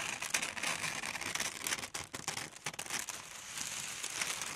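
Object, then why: Thin tissue paper sheet. Long metal scissors with brown handles slide along a large, flat sheet of red tissue paper on a table, cutting it. The result is a steady, bright rustle and crinkle with quick, crisp snips, almost no low end, and brief dips between strokes.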